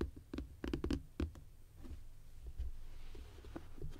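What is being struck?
Plastic compartment organizer box with hinged lid.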